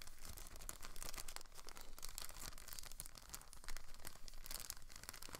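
A thin clear plastic film packaging bag holding a blue plastic rotor guard is crinkled and rubbed with fingertips and nails. The result is a continuous, quiet crackling and rustling with bright, sharp crinkles over a soft low rumble.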